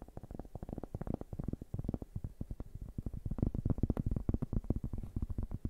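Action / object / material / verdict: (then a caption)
tap / thin round cork board / cork / none. A large, round, flat cork board, solid and thin, is held in both hands in front of two microphones and tapped and scratched with fingertips and nails. It produces a rapid, steady stream of soft, dull, low taps that die away almost instantly, with a faint scratchy texture in between.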